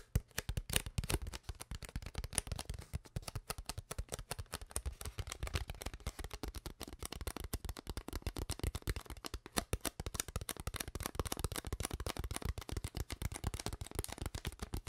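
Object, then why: Ridged plastic water bottle. An empty, clear, ridged plastic water bottle with a white cap and no label is squeezed, crinkled and tapped with long nails, its hollow body giving dense, rapid clicks and crackles for the whole clip. The sound is mostly low and thumpy with a little bright crinkle on top, and each tap dies away almost instantly.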